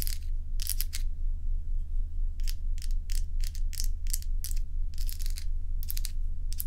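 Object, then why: Ice cubes scratched by fingernails. Long nails tap and scratch a stack of solid crescent ice cubes held in the hand, making short, bright, crackly bursts in an uneven rhythm. A steady low hum runs underneath throughout.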